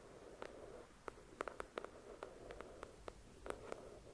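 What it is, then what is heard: Paperback book. Long acrylic nails tap and scratch the glossy cover of a thick paperback novel resting on a white cloth. Fourteen soft, dry clicks, centered in the midrange, stand out over a faint steady scratching hiss, each dying away almost at once.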